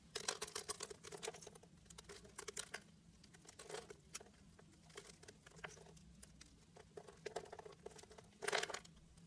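A hand-held pink bar of soap, scored into diamond cubes, is cut with a utility-knife blade, and the cubes crumble off. Dense, dry crackling and crumbling textures come in bursts, with bright, gritty scrapes over a faint low hum. The scraping thins out in the middle, then a final loud, crunchy burst comes near the end.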